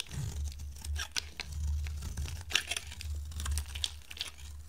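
A pink oval bar of dry soap, held in the hand, has slices shaved off it with a metal box-cutter blade. Crisp, bright scraping and crackling bursts come in quick succession over a steady low hum.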